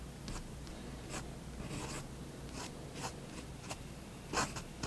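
A fine pen tip draws slow strokes across a white paper sheet on a desk. Soft, scratchy bursts of broadband friction noise rise and fall over a low, steady background hum, with brighter strokes standing out near the end.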